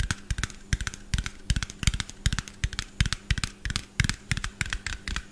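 Fingernails of both hands tap fast on a small, hollow, white plastic bottle with a yellow cap. The taps come in quick, uneven bursts of short, dry clicks, each with a dull low thump under a bright tick, over a faint steady low hum.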